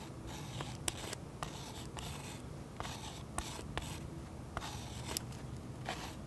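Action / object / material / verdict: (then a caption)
scrape / oil pastel layer on a paper page, scratched with a fine pen tip / oil pastel / none. A fine pen tip scratches curly cloud lines into a thick, waxy oil pastel coating on a sketchbook page resting on a solid flat surface, heard close up. Soft, steady scratching and rasping strokes carry bright, hissy texture, punctuated by short, sharp ticks as the tip catches the pastel, over a quiet low background.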